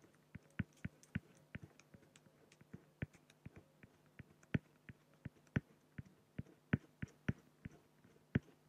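A fine-tip pen scratches hatching strokes near the bottom of a drawing on a large, flat, solid acrylic sheet. About thirty short, dry ticks and scratches follow one another quietly and unevenly, each dying away almost instantly, over a faint steady low hum.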